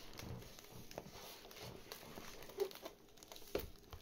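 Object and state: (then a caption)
Cardboard gift box tapped and scratched. Fingertips and nails tap and scratch the top and side of a medium white cardboard Harvey Nichols gift box resting on a wooden table, the box apparently hollow or lightly filled. Quiet, dry crinkly scratching runs throughout, broken by soft hollow taps, with two sharper knocks standing out near the end.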